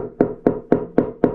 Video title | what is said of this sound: Ulefone Armor 24 Unboxing & Initial Thoughts On Build Quality. Ultimate Biker Travel Phone ? | That's like knocking on solid. That is a solid box.